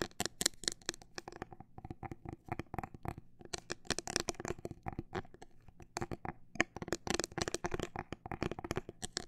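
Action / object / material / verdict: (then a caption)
tap / clear plastic phone case / plastic / none. A clear plastic liquid-glitter phone case with a grip, held horizontally, is tapped with long black nails along its rigid plastic shell. Quick, dry, bright clicks come in dense bursts and sparser stretches, each one short with almost no ring.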